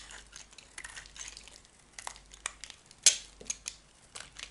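A metal utility knife carves chunks off a solid, dry cream bar of soap, and the pieces break apart. Bright, crisp crackles and scraping snaps come in quick, short bursts over a faint hiss, with the sharpest crack about three seconds in.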